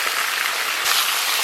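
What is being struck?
Nothing is struck.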